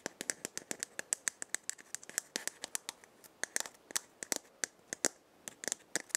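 Long dark-painted fingernails rapidly tap and scratch the shell of a hand-sized, hollow, round dried gourd maraca with painted patterns, held in the hand. About 33 sharp, dry clicks come in quick succession with a bright, high edge and almost no low end or ring, over a faint scratchy rustle.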